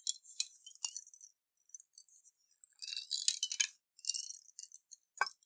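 A clear glass jar with a silver lid, partly filled with water and beads, is turned and shaken in both hands with fingertips on the glass. Quiet, bright clinks and rattles come in irregular bursts, with brief gaps of silence and a sharper tap near the end.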